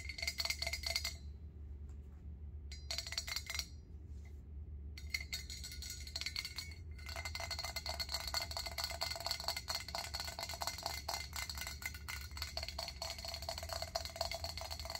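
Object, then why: Stainless steel pot lid. A round stainless steel pot lid, held up, is tapped rapidly by long acrylic nails, making a dense run of short, bright metallic clinks with a ringing tone around 2.1 kHz. The tapping comes in bursts with brief pauses during the first seven seconds, then continues steadily to the end over a faint low hum.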